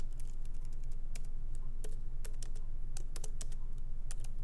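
Fingertips of both hands type lightly and quickly on a MacBook Pro laptop keyboard with small plastic keycaps set in an aluminum body, resting on a wooden desk. Sharp, bright key clicks come at an uneven, rapid pace over a steady low hum.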